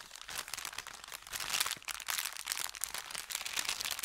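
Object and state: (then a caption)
Thin kraft paper bag. An empty, thin brown kraft paper bakery bag, folded and pressed flat on felt, is rubbed with the fingertips. It produces a steady, dense crinkling and crunching that is bright and papery, with almost no low end. The rustle swells and fades in uneven bursts over about four seconds.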